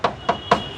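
Three quick taps on the right-side body panel of a used Toyota Rumion give clear, short metallic knocks that ring around a mid pitch. This marks it as the original factory sheet-metal body with no filler. A panel repaired with putty and paint would give a dull, non-ringing sound instead.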